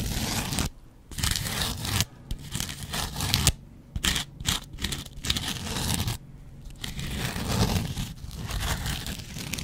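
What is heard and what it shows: A double-edge razor blade is scratched across a yellow foam kitchen sponge. Rough, tearing scrapes come in dense bursts separated by brief pauses, with a low rumbling body under a bright, hissy rasp.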